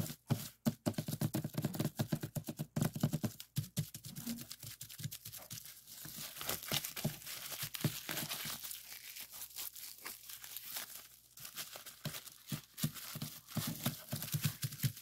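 Fingertips press and pop the hollow bubbles of a clear plastic bubble wrap sheet and rolled length resting on a desk. Sharp, bright snapping pops come in quick irregular bursts over a steady crinkling rustle of the plastic.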